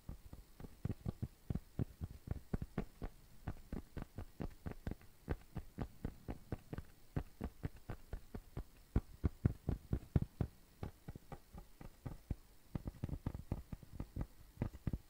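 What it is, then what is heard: Cork coaster. A round, flat, tan cork coaster, thin and solid, is tapped and scratched with fingertips and nails. Quick, dull, low thuds come in a fast, uneven stream over a faint background hum, each one dying away almost at once.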